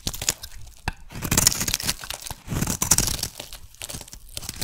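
A solid rectangular purple (lilac) soap bar is shaved with a metal blade, with thick flakes breaking off. Crisp, bright scraping and crunchy tearing come in short bursts, with two longer, louder cutting passes in the middle.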